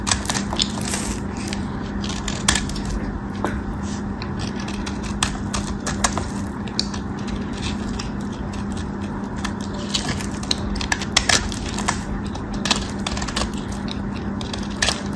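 A cream-colored solid bar of soap is scored and shaved with a metal craft knife blade held between the fingers. Fast, crisp scraping ticks and bright crackles keep coming over a steady low hum, with a few sharper snaps standing out.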